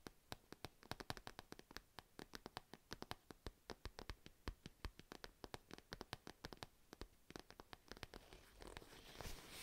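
A purple padded fabric cat pencil case held near the mic is scratched with long nails, giving a rapid run of short, dry scratching ticks that spread from low to bright. The strokes come quick and close together, then blur into a denser, brighter rustling scrape near the end.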